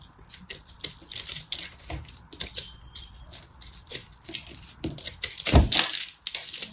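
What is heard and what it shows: A knife blade cuts and scrapes into a solid, pressed, multicolor soap-flake ball held in a hand with red nails. A rapid, dense series of crisp, bright crackles and scraping crunches follows, with a louder, deeper crunch near the end.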